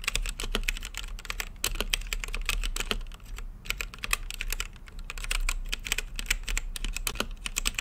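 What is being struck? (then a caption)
Mechanical keyboard with plastic keycaps and acrylic case. Fingertips type continuously on a plastic mechanical keyboard with plastic keycaps on a translucent acrylic case. They make a rapid stream of sharp, bright clacks that cut off almost instantly, with brief lulls near the middle, over a faint steady low hum.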